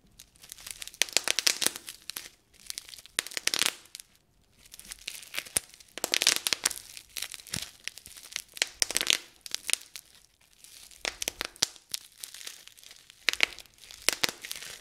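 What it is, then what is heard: Plastic bubble wrap being popped. A small rolled piece of clear plastic bubble wrap is squeezed and twisted in both hands, popping and crinkling its air bubbles. Sharp, bright snaps and crackles come in dense bursts separated by brief quiet pauses, each pop dying away almost instantly with almost no low end.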